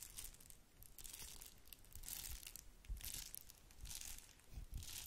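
Long nails scratch and crinkle the bubbled surface of a small, flat red plastic bubble-wrap mailer held in one hand. Dense, bright crinkling comes in irregular bursts over soft low rumble, with a few sharper crackles standing out.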